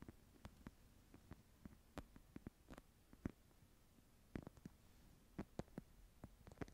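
Long nails scratch and tap the woven surface of a small, flat wicker/rattan clutch held in both hands. Quiet, dry, short taps and light scratches come in scattered bursts over a soft, low background hum, each tap dying away almost at once.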